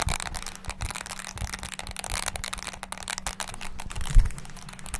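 Fingertips rapidly press the keys of a small, black, hollow plastic mini wireless handheld keyboard, producing a dense, fast stream of short clicky taps with hollow low thuds. A faint steady low hum runs underneath, and one tap near the end lands noticeably harder than the rest.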